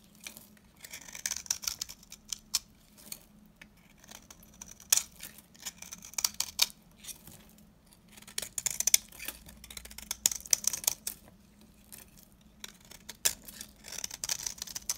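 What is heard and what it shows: A solid, very dry, old orange-yellow laundry soap bar, held in the hand, is scraped and cut with a metal utility knife blade into crumbly flakes. Bright, crisp scratching and crackling come in short bursts of quick strokes, separated by quiet pauses over a faint steady low hum.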